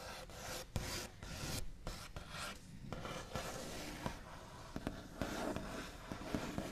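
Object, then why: Painted wooden table top. The backs of the fingernails of both hands flick and tap across a large, solid wooden table top with a smooth white-painted finish. The result is a steady, dry, scratchy rasp with sharp little clicks popping out at irregular moments. The sound sits mostly low and soft, with some bright grit on top.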